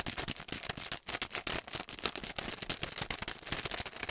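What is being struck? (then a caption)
Paintbrush set in plastic and cardboard packaging. A long, narrow paintbrush set package, a clear plastic sleeve on a printed cardboard backing, is held in both hands and worked with fingertips and nails. The result is fast, continuous crinkling mixed with quick taps, bright and crisp with little low end, each sound dying away almost instantly.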